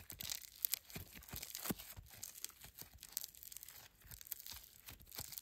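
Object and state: Foam slime with polystyrene beads.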